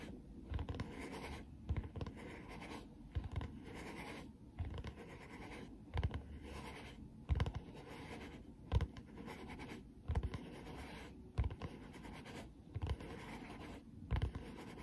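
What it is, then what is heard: Foam rubber hair sponge scratched. Long painted fingernails of both hands scratch the smooth back of a solid, hand-sized black foam-rubber Magic Twist hair sponge. The result is a soft, muffled, low scratching rustle in slow, uneven strokes, with a faint thump at the start of each stroke.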